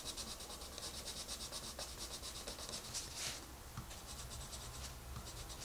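A hand with long red nails shades a rabbit picture in an open paper coloring book lying flat on a table, using a wooden colored pencil. The quiet, repeated scratching and rubbing strokes come in a steady rhythm of bright, hissy bursts over a soft low rumble.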